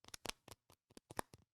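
A four-pack of spice seasoning containers is tapped with fingers in a quick, irregular run of light taps. The taps are short, dry and clicky with a bright edge, and each one cuts off almost at once with no ring.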